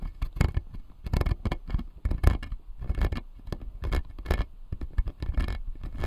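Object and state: Plastic dental model, scratched.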